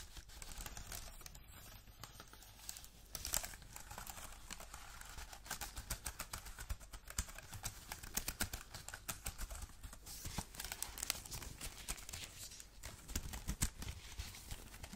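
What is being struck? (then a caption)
Aluminium keyboard with plastic keys. An Apple-style wireless keyboard with an aluminium body and white plastic keys is held in both black-gloved hands and tapped and scratched across its keys and body. The result is a steady, quiet stream of quick, bright clicks and dry scratching, each tap dying away almost instantly.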